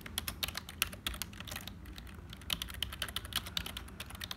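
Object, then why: Plastic computer keyboard. Both hands' fingertips type continuously on a hollow, black, full-size HP plastic keyboard, producing a rapid stream of bright, dry key clicks centered near 2.8 kHz. Each click stops almost instantly over a faint low rumble, and there is a brief lull midway before the typing picks up again.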